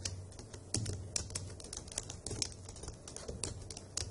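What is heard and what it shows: Long acrylic nails and fingertips type on the hollow key caps of a dark grey plastic laptop keyboard, producing a rapid, uneven run of sharp, bright clicks and taps. Each tap is short and dry, over a steady low hum underneath.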